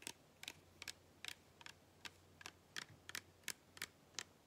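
Long painted fingernails tap and scratch the sides of a small clear plastic (PET) cola bottle with a white cap, partly full of dark soda and held in both hands. Twelve quiet, sharp, bright clicks land at an irregular pace, each dying away almost instantly over a faint low hum.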